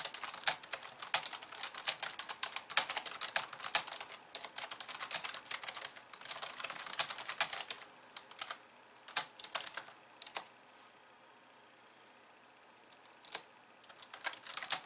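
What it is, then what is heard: Plastic computer keyboard being typed on. Two hands type on a pink plastic computer keyboard with white keys, striking with long nails and fingertips. Rapid, bright, dry clicks with no low end run steadily for about eight seconds, then thin to scattered taps. After a near-silent pause the clicking resumes briefly at the end.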